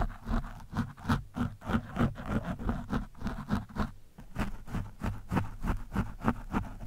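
The tip of a screwdriver scratches across an orange foam windscreen on a microphone, producing rapid, close, rasping scrape strokes at about three per second. Each stroke has a muffled, low-heavy body with bright hissy streaks. There is a brief pause near the middle before the scratching resumes.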